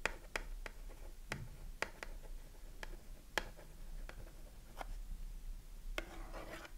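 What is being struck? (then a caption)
Cardboard soap box. Long manicured nails tap and scratch the front face of a small closed cardboard Dove soap box with the soap bar inside, held in both hands. Sharp, dry clicks ring out at uneven intervals over a low steady hum, with a brief scratchy rustle near the end.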